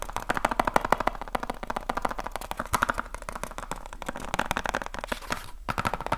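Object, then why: Small cardboard box. A small, hollow rectangular cardboard light bulb box is held in one hand and fast-tapped with the fingertips of the other hand. The result is a rapid, continuous stream of short, dry, hollow taps with a papery mid-range tone around 800 Hz, broken by a brief pause near the end before the tapping resumes.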